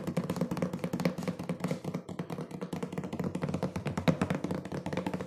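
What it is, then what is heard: Cardboard box, hollow. Fingertips and nails tap fast on a hollow, medium-sized printed cardboard cookie box with its top flap open. The taps come in a quick, uneven stream of dull, hollow knocks with a low tone and sharper clicks, each dying away almost at once.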